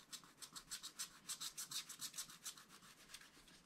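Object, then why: Scratch-art paper with wax coating, wooden stylus. A wooden stylus scratches the black wax coating near the bottom of a sheet in a small spiral-bound scratch-art paper pad. About sixteen quick, rhythmic scraping strokes are heard at roughly three per second, each a bright, hissy rasp concentrated in the high range with almost no low end. The strokes are strongest in the middle of the clip and soften toward the end.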